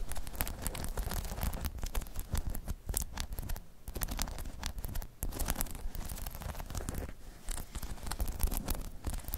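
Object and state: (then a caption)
Rubber balance pod being scratched. Long chrome nails scratch rapidly over a hollow, dome-shaped spiky rubber balance pod. The result is a dense, continuous patter of short scratchy taps with a deep, muffled low thud beneath and bright crackle on top. There are brief pauses near the middle.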